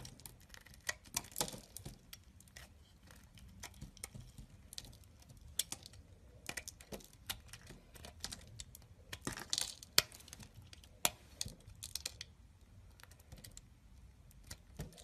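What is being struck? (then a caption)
Soap bar shaved with a blade. A solid beige bar of soap is cut and shaved with a utility blade over a pile of soap flakes. The clip is quiet, with dry, crisp scraping and crackling bursts, bright and short, arriving in irregular clusters over a faint low rumble.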